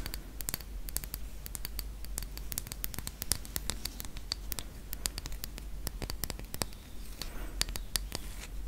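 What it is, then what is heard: Wooden toy camera. A small hollow wooden toy camera with a rainbow-painted front, an orange lens ring, a white knob and a strap is held close and tapped and scratched with long acrylic nails. The result is a dense run of sharp, dry clicks and taps over a soft scratching hiss and a low steady hum, with each tap dying away almost instantly.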